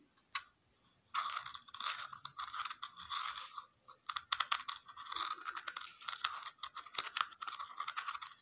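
Fingernails scratch and tap a round red plastic lid with a raised dotted texture. A single sharp tap comes first, then dense, bright scratching mixed with quick clicky taps runs continuously, centered around 1 kHz with hiss up high and no low end.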